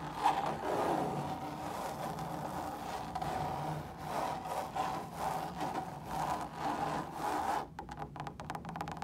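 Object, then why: Woven fabric lampshade. Long pointed stiletto nails scratch and tap across a large, hollow, drum-shaped lampshade of stretched woven fabric that is lit from inside. A steady, mid-pitched scratchy rasp swells and fades in rhythmic strokes. Near the end it gives way to a quicker run of lighter, dry taps.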